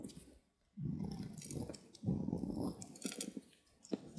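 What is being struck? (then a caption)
Soap bar cut with a knife. A green-handled utility knife carves a small, handheld solid white bar of soap, its blade scraping and slicing through the soft soap. Two longer stretches of dull, crumbly scraping are heard, followed by lighter crackling cuts and a sharp tick near the end.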